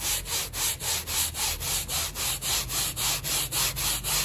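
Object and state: Wet woven rug being brushed.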